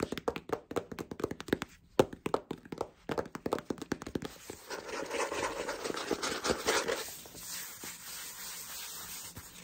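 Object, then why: Hardcover book with cardboard cover. Fingertips and short painted nails tap and rub the glossy cardboard cover of a large, solid hardcover cookbook, "The Happy Pear," held up in the air. Many quick, dry, clicky taps come first, then they turn into a steady, soft scratchy rubbing across the cover.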